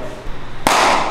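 A ball is caught in a grade-2 Japanese steerhide baseball glove, with a Descente glove named in the source. A single sharp, hard crack lands after a quiet stretch of low background noise, then a bright, hissy wash tails off over about half a second. The catch sounds hard and firm, put down to the Japan steerhide leather.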